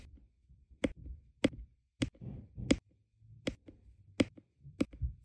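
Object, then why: Resin drills tapped onto adhesive canvas with a plastic pen. A plastic drill pen with a metal tip repeatedly taps small, solid, round resin diamond painting drills down onto a flat adhesive canvas. Seven sharp, quick clicks with a bright edge ring out at fairly even intervals, with soft low rustling between them.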